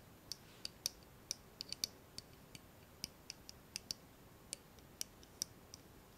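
Fingertips and nails tap and rub along the steel blade and bolster of an open pocket folding knife with a solid dark handle, held in both hands. About nineteen quiet, sharp, bright metallic clicks come at an irregular pace, each dying away almost instantly with almost no low end.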